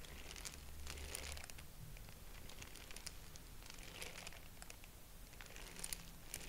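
A purple tissue-paper honeycomb is stretched open and squeezed closed between both hands, giving soft, bright crinkling bursts that swell and fade in waves. A steady low hum sits underneath throughout the quiet clip.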